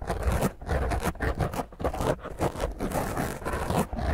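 Long painted fingernails scratch fast and roughly over a black foam microphone windscreen. The result is a dense, rumbling, low-heavy scraping that comes in uneven bursts with brief dips between strokes and little bright content.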